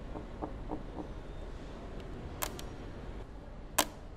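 Long manicured nails and fingertips tap and scratch the large, clear polycarbonate headlight housing on the front of a grey Mercedes S-Class, a hollow hard plastic shell. A run of light, evenly spaced ticks is followed by a few sharper, brighter clicks over a low, steady background hiss. Each tap is short and dry, dying away almost at once.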